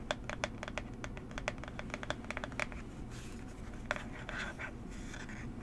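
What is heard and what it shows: Long nails tap and scratch a small, hollow, rectangular blue and orange cardboard box for Coola SPF 30 held in the hands. A quick run of sharp, dry clicks fills the first half, then gives way to softer, broad scratching with a few more taps. Each tap is crisp and dies almost at once over a faint low background hum.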